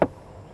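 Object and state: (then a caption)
Solid-sounding car body panel. A single knock on the sheet-metal side body panel of a 2011 Volvo S60 T4 1.6 gives a short, dull thud centered around 600 Hz that dies away within a fraction of a second. The panel sounds solid rather than hollow.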